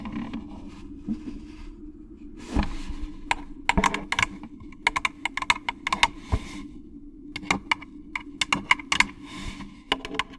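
An orange hollow plastic jack-o'-lantern candy bucket is held close to the mic and scratched and rubbed with long claw nails. Sharp, bright clicks and taps come in quick clusters, with a few softer scraping swishes, over a steady low hum.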